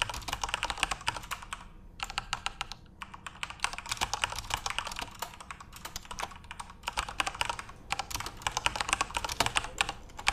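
Both hands type rapidly with their fingertips on a full-size Corsair RGB-backlit mechanical keyboard with plastic keycaps. The result is a dense stream of sharp, bright plastic clicks centered around 940 Hz that stop dead with almost no ring. The flow briefly pauses near 2 and 3 seconds, then runs on steadily to the end.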